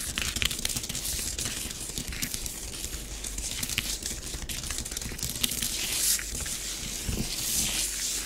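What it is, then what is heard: Nails tracing through bath bomb powder on a plastic tray. Long nails on both hands scratch fine squiggly lines through a layer of orange bath bomb powder spread on a grey plastic tray. The result is a steady, bright, gritty scratching and crinkling hiss made of many quick, dry strokes that stop sharply with no ring. A faint low rumble sits underneath.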